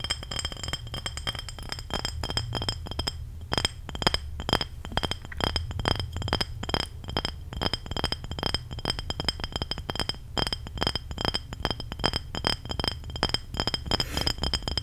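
Fingertips and short nails tap quickly and steadily on the sides of a small, clear glass apple juice bottle with a black-and-gold label and a dark cap, which looks empty or nearly empty. Each short, bright clink dies away almost at once, and a steady low rumble runs underneath. Mouth sounds may be mixed in.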